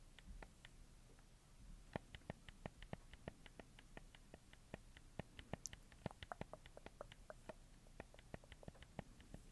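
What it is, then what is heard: Plastic game controller buttons. Fingertips tap and click the buttons and D-pad of a black handheld PS4 controller with a hollow plastic shell, held close to the mic. Dozens of short, dry plastic clicks and taps come in uneven bursts over a low, steady background rumble.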